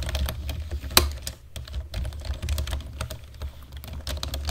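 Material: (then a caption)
Plastic. Both hands type on a black plastic computer keyboard with fingertips and short nails, making a steady stream of quick, bright key clicks. One sharp, louder click stands out near the start. A low, steady rumble runs underneath the whole time.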